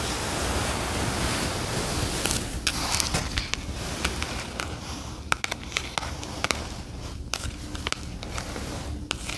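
Long acrylic nails tap and rub the glossy paper cover and pages of a solid paperback word-find puzzle book lying on a fluffy rug. A steady, soft, broadband rubbing hiss runs throughout, and from about two seconds on it is broken by sharp, dry clicks scattered at irregular intervals.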